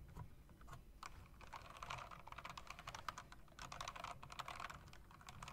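Fingertips rapidly tap the spacebar of a typewriter-style mechanical keyboard with round plastic keycaps and metal rims, then tap the keys with long nails. The result is a dense stream of quick, sharp clicks centered around 1 kHz, with very short decay and a steady low background hum underneath.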